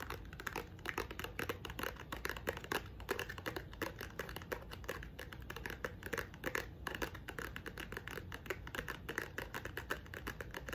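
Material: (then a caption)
Wood. Long nails quickly tap and scratch the top edge and surface of a pink painted wooden block box held flat. A dense, steady run of dry, crisp clicks and scratchy rasps carries a hollow mid-range woody tone. Each tap dies away almost at once, and the sound stays soft throughout.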